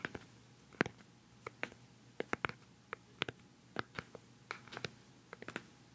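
Fingertips and nails tap the top of a hollow, palm-sized round white plastic cosmetic pad jar with a black lid, close to the mic. About nineteen quick, dry, bright clicks come at an uneven, pattering pace. Each fades almost instantly over a quiet background.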